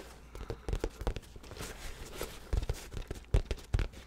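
A hollow, soft black nylon fabric bag is held beside the microphone and scratched and tapped with the fingertips and nails. Dull, low, short thumps come at an uneven pace, mixed with a soft rustling scratch across the fabric.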